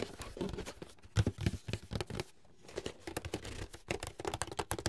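A medium, closed, hollow white paperboard box is turned in the hands while fingertips and nails tap and scratch its sides and lid. The result is a quick run of short, dull, hollow knocks with a low, boxy thump, mixed with dry, crinkly scratching. There is a brief quieter pause partway through before the tapping picks up again.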